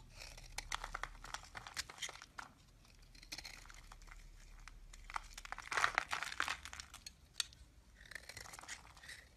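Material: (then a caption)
Soap. A solid purple bar of soap, held in the hand, is shaved and carved with a green-handled blade, and flakes break off. Quiet, dry scraping and crisp crunching strokes follow one another in quick bursts, bright and hissy, with a few louder crackly cuts near the middle.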